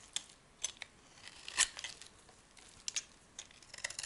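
A hand-held solid white soap bar, dry and soft, is carved by shaving it with a metal blade, so flakes and curls peel off the surface. The cuts come as quiet, crisp, bright scraping ticks, spaced irregularly, with one louder, longer shave in the middle. There is almost no low end, and each stroke stops short.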